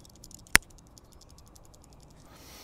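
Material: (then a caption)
Steel. A Steel Will Tasso folding knife is shaken, and the disengaging pins that sit in the cones of its thumb studs rattle in the steel locking mechanism. A single sharp click stands out over faint, rapid high-pitched ticking. The rattle shows loose tolerances in the lock; it causes no problems and is only a slight nuisance.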